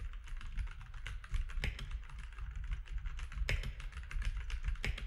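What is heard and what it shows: Fingertips of both hands type quickly on a compact grey-and-white mechanical keyboard with plastic keycaps resting on a desk. The result is a dense, steady stream of short clacks over a deep low thump, with a few louder, brighter key strikes standing out.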